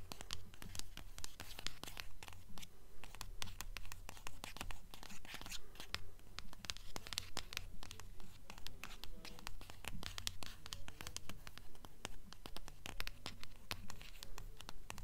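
Long nails scratch and tap the front cover near the spine of a mid-size hardcover "Fairies" book with a paper dust jacket, held upright. A steady stream of quick, closely spaced scratches and taps with short, bright transients sits over a low hum.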